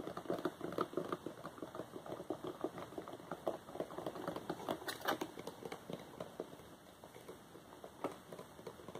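A small glossy paperboard Wowax depilatory hard wax box, hollow with its contents inside, is tapped and scratched with fingertips and short nails. The result is a quick, irregular patter of soft, dry clicks and scrapes, mostly in the low-mid range, each dying away almost instantly.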